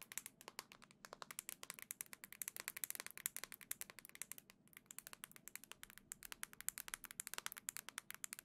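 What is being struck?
Plastic handheld game console.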